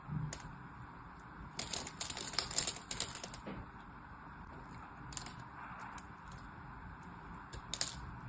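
A solid orange and white striped soap bar held in the hand is scored and cut with a blade, releasing small soap cubes. Crisp, bright scraping crunches come in a dense cluster early on, then quieter scoring follows before a final sharp crack near the end, all over a low steady background hiss.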